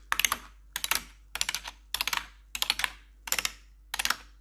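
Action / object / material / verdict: tap / plastic computer keyboard / plastic / none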